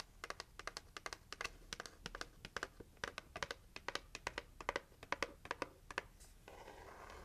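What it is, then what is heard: Cardboard gift box tapped with nails. Long nails tap and scratch the lid and edges of a red printed heart-shaped cardboard gift box held in the hands. A quick, uneven run of short, crisp clicks with bright edges fills most of the clip, then gives way to a steady, soft scratching rasp at the end.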